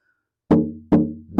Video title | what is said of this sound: Wayne Henderson Guitar Auction. | I'm just tapping on the back of it and you can hear it resonate and sound that's a good sign it'll be good sounding guitar